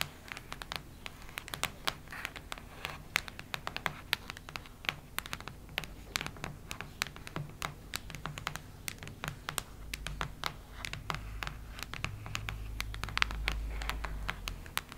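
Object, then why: Hardcover notebook cover. A solid cactus-print hardcover notebook is scratched and tapped with long red nails, making a dense run of quick, dry, bright clicks and taps over soft scratching. A low rumble swells in the second half.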